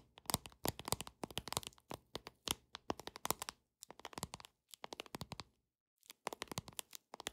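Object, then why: Paper playing card deck. Long nails tap on a paper deck of playing cards in quick, dense bursts of sharp, bright clicks, pausing briefly between flurries and once for about half a second near the end. The taps are crisp and dry, with almost no ring.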